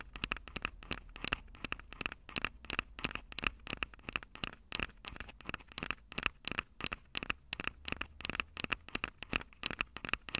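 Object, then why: Small metal microphone capsules on a plastic recorder. Long purple fingernails on both hands scratch and tap the small metal X/Y microphone capsules on top of a plastic Tascam DR-05 recorder, the same mic doing the recording. The result is a steady, dense run of sharp, dry clicks and scratchy crackles with almost no ring, bright and tinny with a tone near 2.6 kHz over a faint low rumble.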